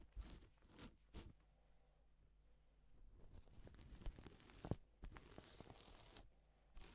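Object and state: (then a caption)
Reversible plastic sequin fabric. Gloved fingertips brush a stripe of sequins on a reversible plastic sequin fabric sheet, flipping them from silver to pink. The result is quiet, irregular bursts of crisp, tearing-like rustle and bright clicking, separated by soft low hush.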